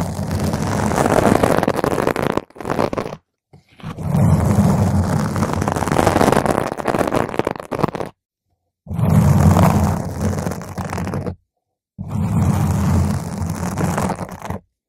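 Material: Foam.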